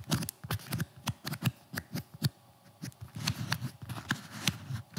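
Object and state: Nylon-covered flexible armor plate.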